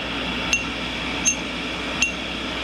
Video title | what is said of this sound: Daily Grind, prepping the cutter grinder basic | if the wheel was cracked, it would be a dull thud